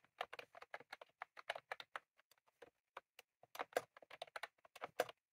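Both hands type rapidly with their fingertips on a full-size, retro-style plastic mechanical keyboard. It has round cream plastic keycaps and a plastic case, and it sits on a desk. The sound is a fast, uneven run of short, crisp clicks and taps, each dying away almost instantly. The run pauses briefly in the middle, then ends in a denser, louder burst.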